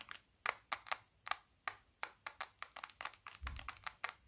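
Fingertips tap the back and edges of a small, solid black smartphone held horizontally in both hands. The taps come as a quick, uneven series of short, dry clicks with a bright edge and almost no ring, and one soft low thump partway through.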